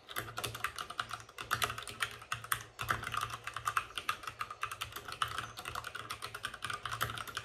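Fingertips of both hands type fast on a white RGB-backlit mechanical keyboard with plastic keycaps and a hollow plastic case. The result is a dense, rapid stream of short, dry, clacky key strikes centered around 1.3 kHz with bright clicky edges, over a faint low hum.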